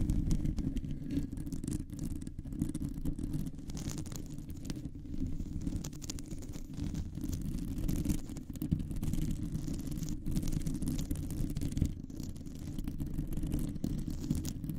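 Long fingernails on both hands scratch a round, hollow metal mesh microphone grille. The result is a continuous, dense, low rumbling scratch, with a steady muffled texture under faint high crackles.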